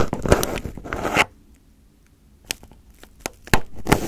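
Fingertips and nails poke, press and pick at crumpled aluminium foil wrapped over a microphone head. A dense burst of crisp crinkling and crackling gives way to a near-silent pause. Then come scattered sharp, bright foil clicks and a final short flurry of crackles.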